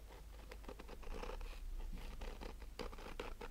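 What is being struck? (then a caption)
Nylon-mesh-covered rigid sunglasses case. Fingernails slowly scratch the woven surface of a black, fabric-covered, rigid hollow hard-shell sunglasses case with a nylon-mesh cover, recorded close-up. Soft, gritty scraping strokes repeat over a steady low rumble, with a faint hollow tone from the case.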